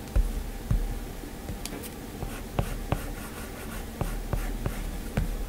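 A plastic-tipped Apple Pencil makes repeated short strokes and taps on a flat glass iPad touchscreen. About seven sharp, dry ticks stand out, with faint scratchy strokes between them over a steady low hum.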